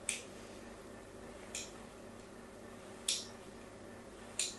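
A fine blade scratches crosshatch lines into the face of a solid pink soap bar held in the hand. Four short, bright, crisp scrapes are heard, spaced unevenly apart, each fading quickly. A steady low background hum continues between them.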